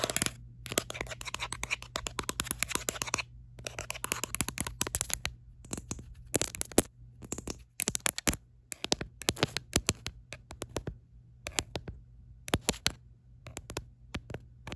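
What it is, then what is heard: Rubber-grip plastic phone case. Long acrylic nails tap and scratch quickly near the camera bump and across the back of an orange-red, ridged, rubberised plastic grip case on a smartphone. Rapid, bright, dry clicks come in dense bursts separated by short pauses, mixed with stretches of scratchy scraping. A steady low hum sits underneath throughout.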